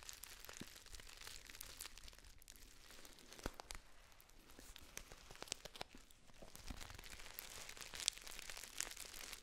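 A hand-sized Dammann Frères tea pouch of black and red metallic foil, with a gold top seal and paper label and apparently filled, is held and squeezed with long nails and fingertips. The result is a steady, bright crinkling throughout, dotted with sharp crackling snaps and soft crunches. The texture is dense and busy but quiet overall.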